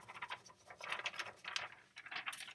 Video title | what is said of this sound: PS Delivery Tips Part 1•Janet Lovrien | I grabbed a sheet of paper and was shaking it. We could hear that.